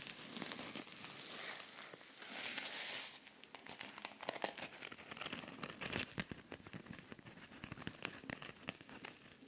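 Fingers squeeze a soft, flexible silver rhinestone-covered cosmetic pouch while nails scratch across the rhinestones. The first three seconds bring a steady, bright crinkly rustle. After that comes a dense run of sharp little clicks and crackles over a quieter hiss.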